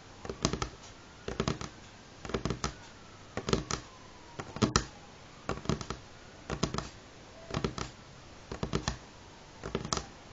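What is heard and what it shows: Medium-length fingernails of both hands tap fast, multi-finger patterns on a solid, light pine-grain wooden table top. Short clusters of crisp, dry clicks with a soft low thump arrive about once a second. Each tap dies away almost instantly against a quiet background.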